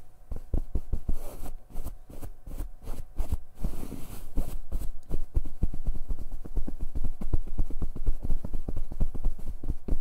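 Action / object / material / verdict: tap / padded fabric comforter / fabric / none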